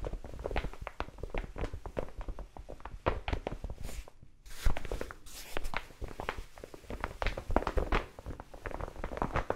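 Long nails scratch and tap a large brown kraft paper mailer envelope held in front of the face, making a dense run of dry, papery taps and scrapes with a low thump under each. After a brief lull near the middle, there are a few broader crinkling swishes, then the quick tapping and scratching returns.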